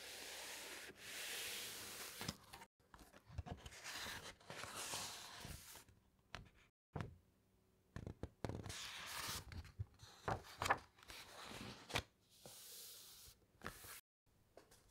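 Fingertips with long nails slide and rub over the thick uncoated pages of an open hardcover encyclopaedia, then turn a page. Soft, bright papery swishes and scrapes alternate with short sharp ticks and crisp flutters, separated by near-silent pauses.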